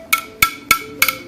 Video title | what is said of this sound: The Morning Show: Take 2 - August 23, 2019 | it's titanium that beautiful sound